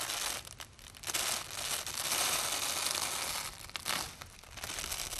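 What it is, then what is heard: Hook-and-loop tape being peeled. A long flat strip of white nylon hook-and-loop velcro tape lies on a dark surface while hands in shiny black gloves press it down and peel the layers apart with the fingertips. It makes a bright, crunchy, crackling tear that runs in long continuous stretches with a couple of brief quieter dips between pulls. Faint crinkling from the gloves may be mixed in.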